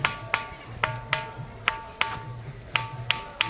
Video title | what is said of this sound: Khanderi-Underi Fort, Near Alibaug 💐 - खांदेरी किल्ला व उंदेरी किल्ला-महाराष्ट्रामधील जलदुर्गजोडी 😍 | ज्या दगडावरती दुसऱ्या दगडांनी आघात केला तर चक्कपैकी भांड्यांना आपटल्यावरती जसा आवाज होतो तसा आवाज तुम्हाला ऐकू येईल